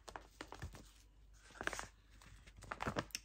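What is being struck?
Filled plastic stand-up pouch.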